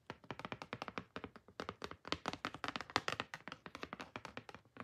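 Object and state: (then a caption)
Glossy cardboard photo card. Long painted fingernails tap and scratch across the surface of a large, glossy printed cardboard photo card resting on BLACKPINK's THE ALBUM. A quick, steady run of dozens of crisp, bright clicks, with faint scratching between them, stops dead with almost no ring.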